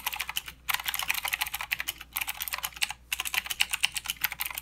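Fingertips of both hands type continuously on a full-size mechanical keyboard with plastic keycaps and blue clicky switches. The result is a rapid stream of sharp, bright clicks with very little low end, broken by three short pauses.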